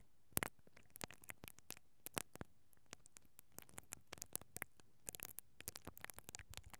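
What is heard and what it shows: A mascara brush with black plastic bristles, held from above by fingers with long nails, brushes against a hollow perforated metal mesh microphone grille over the capsule. About thirty quick, dry scratches and crackles come in irregular bursts, each bright and stopping at once, over a steady low hiss.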